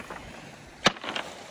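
A rock on a beach descent is knocked to test it, giving one short, sharp, bright knock with almost no ring, followed by a few fainter taps. The heavy sound marks it as a solid rock.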